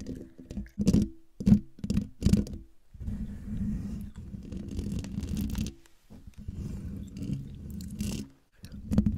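Long dark-painted fingernails of both hands scratch and tap the rounded, hollow metal mesh grille of a silver USB condenser microphone. Sharp, bright scratches and loud thumping taps come in bursts in the first few seconds. They give way to a steady, low, buzzing scrape with brief pauses and a final pair of taps.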